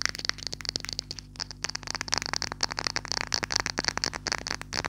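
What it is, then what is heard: Glass perfume bottle. A clear glass perfume bottle with a silver cap, partly filled, is tapped and scratched with long nails. The result is a rapid, uneven string of short, bright clicks and ticks with a high glassy ring and light scratchy sounds between them, over a faint, steady low hum.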